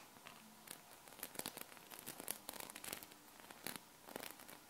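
A hexagonal sheet of small solid metal magnetic balls is held and bent in the hands, then two long painted nails scratch and tap across the ball surface. Quick, bright clicks and rattling taps come in uneven bursts over a soft, hissy background, each one dying away almost instantly.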